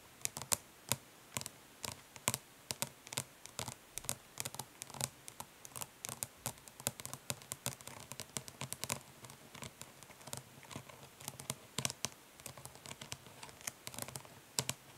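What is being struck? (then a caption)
Plastic eyeshadow palette tapped with fingernails. Long nails tap rapidly on the embossed lid of a flat, hollow plastic eyeshadow palette resting on cloth. The result is a quick, irregular stream of bright, dry clicks that stop dead with no ring, over a quiet background.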